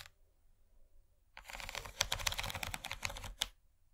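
After about a second and a half of near-silence, one hand's long nails tap fast along the ridges near the edge of an empty, rigid yellow plastic corn-shaped serving tray. The result is about two seconds of rapid, bright, dry clicking with a few sharper accents, which then stops abruptly back into quiet.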